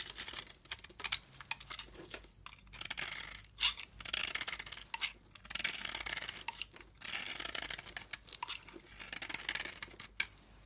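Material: Soap.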